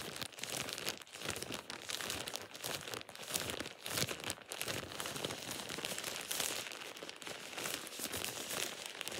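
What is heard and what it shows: A thin, soft, light-colored plastic shower cap with an elastic edge, hollow and empty, is crumpled and squeezed in a bare hand. The result is a steady, dense crinkling and crackling that is bright and papery, with almost no low end and quick, dry rustles that swell and ease throughout.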